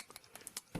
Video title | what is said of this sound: Samsung NX300 Smart Camera Unboxing | when you hit it sounds like plastic